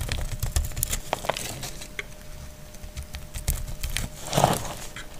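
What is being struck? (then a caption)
Glycerin soap bar shaved with a blade. A utility knife blade shaves a palm-sized, solid, translucent green glycerin soap bar held in hand, and curled shavings fall away. Quick dry crackling scrapes and crisp clicks come in an uneven run over a low rumbling base, with a faint steady tone underneath. A louder, brighter scrape swells near the end.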